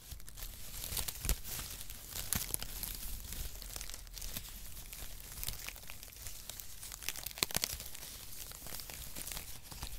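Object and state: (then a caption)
Cardboard packaging shreds. A flat mat of brown cardboard packaging shreds, held across both palms, is squeezed and crumpled with the fingers. It makes a steady, dry crinkling and crackling rustle with a bright, high hiss over a soft low rumble. Sharper, louder crunches stand out now and then.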